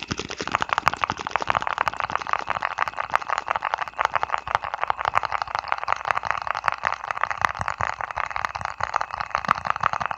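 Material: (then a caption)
Plastic. A small, round, white lidded jar, likely plastic, is held over the mic and tapped and scratched with fingertips and nails. The result is a steady stream of rapid, crisp clicks and scratchy rasps centered in the midrange around 1 kHz, with very little low end and no ringing after each touch.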